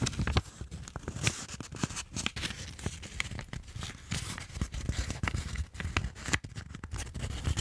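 A thin, flat white sheet of paper is handled close to a microphone as fingertips fold it and rub along the creases. A steady stream of sharp, bright crinkles and crackles rides over soft, low rubbing and handling thumps. The result is dense, close-up paper crinkling and rubbing with quick, dry transients that die away almost at once.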